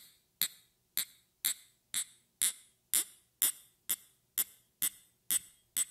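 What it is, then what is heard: Small glass vial. A small clear glass vial or tube with a small metal ring hanging from it, held in the fingers, is tapped with long red-painted fingernails. Twelve bright, high-pitched clinks ring out at a steady pace of about two per second, each fading quickly.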